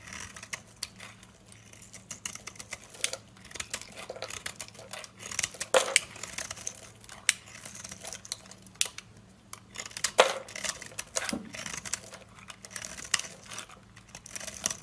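A solid rectangular brown bar of soap, held in hand, is shaved and carved with a metal utility-knife blade over a pile of shavings. Soft, bright scraping and crisp ticks recur irregularly throughout, with a few louder cuts standing out near 6 and 10 seconds.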